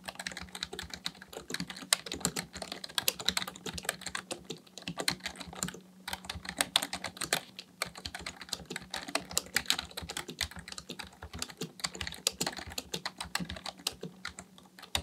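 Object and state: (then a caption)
Plastic computer keyboard being typed on. Both hands type steadily with their fingertips on a black plastic full-size keyboard resting on a desk. The result is a dense, fast stream of short, bright plastic key clicks with very little low end, broken only by brief pauses near 6 and 8 seconds, over a faint steady low hum.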